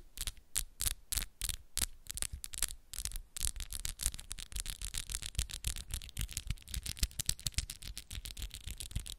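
Long, solid coffin-shaped acrylic nails on both hands, held fingertip to fingertip, rub and scratch against each other. The sound is a quick, uneven run of short, dry, bright clicks and scrapes, spaced out at first and then coming faster and denser, with no ring after each contact.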